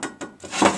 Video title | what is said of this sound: Delboy's Garage, Harley 883 Iron, Belly Pan, Episode 2. | it's like plate. You can hear it rings rather than the sheet.